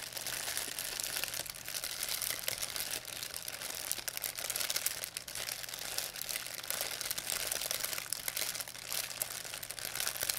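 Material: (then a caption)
Plastic. An empty, thin white plastic pharmacy bag is crumpled and rubbed with fingertips and long nails. It makes a steady, dense stream of bright, crisp crinkling and crackling that continues for the whole clip with no pauses.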